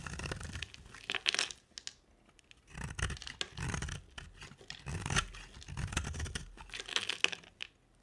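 A utility knife blade shaves an oval, solid pink bar of dry soap with a black glitter rim, piling up pink flakes. Repeated scraping strokes give bright, crisp tearing and crinkling crackles with brief quiet pauses between passes.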